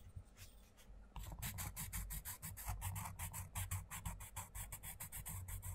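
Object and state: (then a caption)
Coloured pencil on a paper page. A wooden coloured pencil rubs and scratches across the paper page of an open paperback colouring book on a table while the other hand flattens the page. After about a second of quieter rubbing, rapid back-and-forth strokes set in at roughly three per second, each a short, bright, papery scratch over a low rumble.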